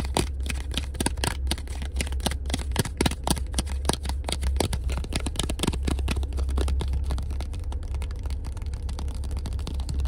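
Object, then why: Paper cardstock business card. A small, thin, solid black printed paper business card for a tattoo shop is held in one hand inside a car and rapidly scratched and tapped with the fingertips and nails of the other. The result is a dense stream of quick, dry clicks and scratches with bright, crisp edges over a steady low rumble.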